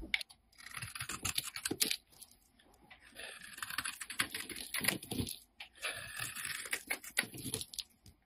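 A solid peach-orange Lux bar soap held in hand is shaved with a wide utility blade, peeling off thin flakes. Quick, bright scraping strokes come in three bursts separated by short pauses.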